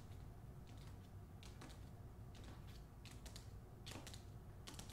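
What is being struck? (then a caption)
Hardcover book with paper dust jacket. Long nails tap and scratch the back cover of a hardcover book wrapped in a glossy, colorful paper dust jacket. The result is quiet, brief, bright ticks and scrapes scattered over a steady low hum.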